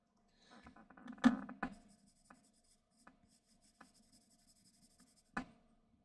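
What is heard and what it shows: A graphite pencil held in the fingertips is rubbed and scratched across a large, flat white paper sheet with a graphite drawing on it, lying on a desk, to shade. Quiet, dry scratching strokes come in short bursts, with a couple of louder, sharper scrapes standing out over a soft, faintly bright hiss.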